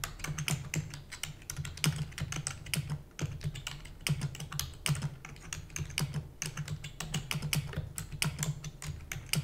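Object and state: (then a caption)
Plastic computer keyboard being typed on. Fingertips with long natural nails type rapidly on a full-size black plastic computer keyboard with plastic keys and a hollow housing. The result is a dense, steady stream of short, bright clicks and clacks, each backed by a low hollow thump and dying away almost instantly.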